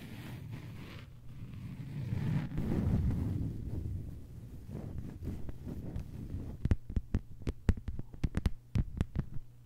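Long white-polished nails of both hands tap a thin, solid, flat lime-green plastic cutting board or mat lying on a table. A low, muffled, throbbing patter with a steady low hum underneath gives way in the last few seconds to sharp, separate clicky taps that ring briefly and die out quickly.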